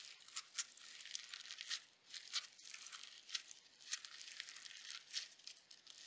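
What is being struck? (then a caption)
Slime with sequins. A handheld lump of pale pink slime full of iridescent sequins is kneaded and squeezed between the fingers and thumbs of both hands. It gives off dense, bright crunchy crackles with almost no low end. Sharper pops rise out of the steady crackling bed in irregular bursts.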